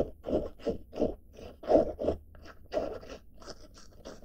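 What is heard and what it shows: Long dark fingernails scratch across the surface and front pocket of a blue denim-fabric backpack with a red badge and grey straps. A series of soft, rough scraping strokes rises and falls in uneven bursts, each a brief crunchy rasp with a mid-pitched body and faint bright edges.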